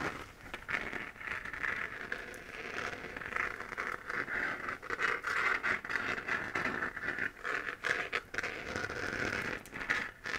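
Long nails scratch and tap across the textured surface of a hollow, glowing 3D-printed plastic moon lamp. The result is a steady, dry, crackly scratching and patter centered in the upper mids around 1.6 kHz, with almost no low end and quick, short-decaying taps.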